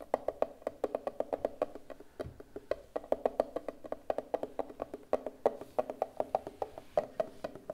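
A rounded, hollow turquoise hard plastic case is held in both hands and tapped with fingertips and long nails. Around fifty quick, dry, hollow clicks are heard in a steady, uneven patter, each with a mid-pitched knock around 500 Hz that dies away almost instantly.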